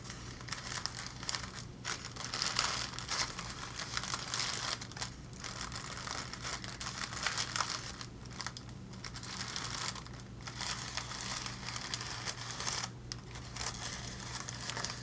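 Bunched sheets of thin pink tissue paper are held in both hands and crinkled and scrunched with the fingertips. The result is a steady, bright, papery crackle that pauses briefly now and then, over a faint low hum.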